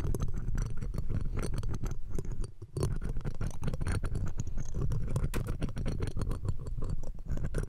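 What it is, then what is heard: Metal microphone mesh grille being scratched. Metal tweezers scratch across the round steel wire-mesh grille of the left pencil condenser microphone. The result is a dense, continuous run of rapid scratchy crackles with a heavy, boomy low end, easing briefly partway through before resuming.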